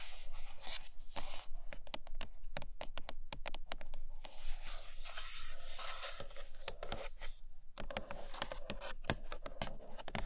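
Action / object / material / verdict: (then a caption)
tap / rigid cardboard box with glossy lid / cardboard / none. Long nails tap and scratch the glossy printed lid of a closed, white rigid cardboard iPad Pro box. Quick, sharp clicking taps are mixed with dry, rasping scratches across the glossy top, each tap dying away almost instantly.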